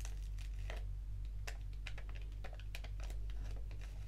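A small, flat, foil-lined paper sachet of organic English Breakfast black tea is squeezed and crinkled between the fingertips and long nails. Quick, bright crinkling bursts rise over a steady low hum.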